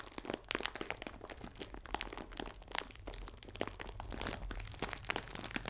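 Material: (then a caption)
Plastic film. A clear plastic film bag full of biscuits is crinkled sideways, then held upright and squeezed. It gives a dense run of sharp, bright crinkles and crackles over a faint low background rumble.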